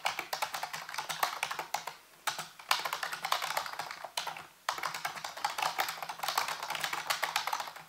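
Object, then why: Plastic computer keyboard. Fingertips rapidly tap the hollow keys of a full-size black plastic computer keyboard on a white base, giving a dense stream of bright, clicky clacks. The taps come in quick bursts with two brief pauses, and each click dies away almost at once.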